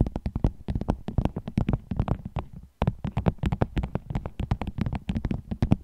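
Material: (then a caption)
Vinyl. A vinyl bag is tapped with the nails as an ASMR trigger, giving a quick, uneven stream of short, dull taps with a low, soft body and crisp clicky tops. The taps die away almost instantly, with one brief pause near the middle before the tapping resumes.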